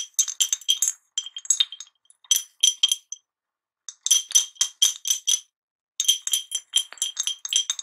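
A medium, clear, ribbed glass jar with a glass lid, hollow and holding a few wrapped mint candies, is held in one hand and shaken and tilted so the candies clink against the glass walls. The result is bursts of rapid, bright, high clinks that die away almost instantly, with no low end, separated by short pauses.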